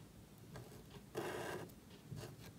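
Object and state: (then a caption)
Marker nib scratching on thin cardstock. A marker nib scratches across a small, thin black cardstock card held flat while lettering. Soft, dry scratching strokes are heard, with one longer, louder rasping stroke in the middle and a brief scrape near the end.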